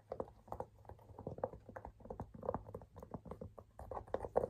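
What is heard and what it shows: Fingers tap and scratch the side panel of a cream and blue leather handbag that has a tan leather buckle strap. Quick, dry taps with short scratching strokes sound in a soft, irregular stream, muffled and mid-pitched with almost no bright edge.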